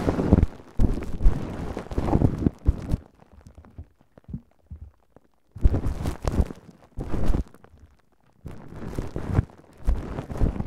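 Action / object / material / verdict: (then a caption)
scrape / plastic cling film over a microphone / plastic film / none. A large ball of wrinkled clear plastic cling film wrapped over a Tascam microphone is gripped by hands, with fingertips and nails scratching and rubbing the plastic. Close, heavy, low crinkling and rustling bursts come in busy clusters, broken by a quieter stretch of sparse crackles in the middle and a short silent pause near the end.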